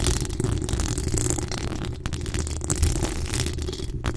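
Long acrylic nails on both hands scratch and tap the top of the hollow metal mesh grille of a decorated pink microphone. The result is a steady, dense rumble of scraping that sits mostly in the low end, with faint bright crackles and small taps scattered throughout.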